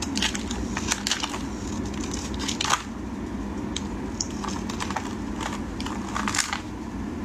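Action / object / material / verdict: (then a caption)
scrape / bar of soap / soap / none. A utility knife blade shaves thin strips off a solid, dry, green oval bar of soap, making a steady run of crisp, crackling scrapes over a low background hum. Brief bright crunches stand out along the way, the loudest just before the three-second mark.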